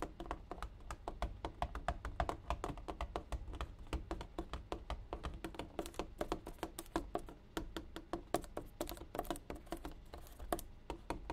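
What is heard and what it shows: A water jug is tapped rapidly and steadily for about eleven seconds. Each tap is a short, dull knock with a faint hollow tone and almost no ring.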